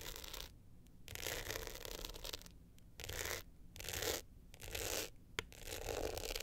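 Long nails scratch and rub the glittery face of an upright navy hard-shell clutch with a gold metal frame. Bright, gritty scratching comes in repeated bursts separated by short quiet pauses, with a sharp click near the end.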